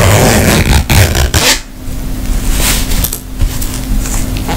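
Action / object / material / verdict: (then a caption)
scrape / fabric makeup pouch / fabric / none. Long nails scratch and tap a tapestry-fabric makeup pouch held close to the mic, making a dense, close, rumbling scrape with bright crackly texture and a few soft taps. The sound is heavy in the low end, eases briefly near the middle, and a faint steady low tone runs underneath through the second half.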